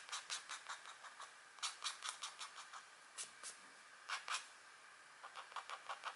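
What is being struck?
Scratch art paper sheet with black coating over metallic layer.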